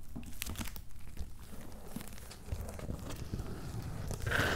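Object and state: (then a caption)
Cardboard shipping box with paper label. Fingertips and nails scratch and tap the paper labels on a medium, closed, hollow corrugated cardboard shipping box. The result is a steady run of dry crinkly scratches and soft taps over a low, hollow boxy thump, ending in a slightly louder, brighter scratching burst.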